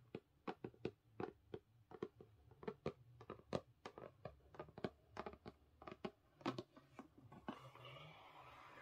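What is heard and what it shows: Long fingernails on both hands tap and scratch across the printed cover of a thick, solid purple hardcover book, *Experiments of the Heart*. A quick, uneven run of short, dry, clicky taps with a midrange knock gives way near the end to a steady, brighter scratching hiss.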